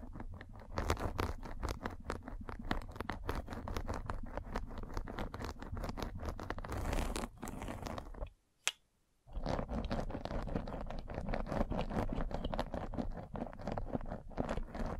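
A metal-spiked derma roller is rolled and pressed along a white fabric mesh net stretched over a round microphone head, making a dense, rapid stream of scratchy, crackling rasps with a heavy low rumble underneath. Near the middle the sound cuts out to near silence, broken by a single sharp click, before the rolling scratches resume at the same steady level.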